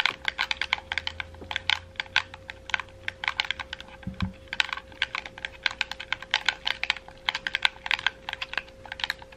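A red, hollow, wired plastic gamepad is held in both hands while fingertips rapidly click its buttons and thumbsticks. The clicks are sharp and bright with almost no ring, over a faint steady hum, and a brief low thump sounds about four seconds in.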